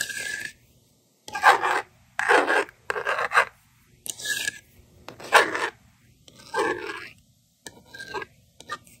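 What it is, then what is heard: Plastic magnetic drawing board. A yellow plastic stylus scratches numbers onto the honeycomb screen of a handheld, hollow plastic toy magnetic drawing board. The result is a series of short, raspy scraping strokes separated by brief silences, with a bright, hissy edge and no low-end weight.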